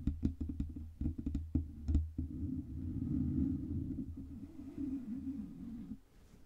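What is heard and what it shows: Long red-painted nails scratch and rub a fluffy grey-white synthetic fur windscreen on a black Blue Yeti USB microphone, directly over the capsule. The first two seconds bring quick, separate scratches with sharp bright edges over a deep, muffled thump. Then a steady, low, woolly rubbing rumble runs on until it fades away near the end.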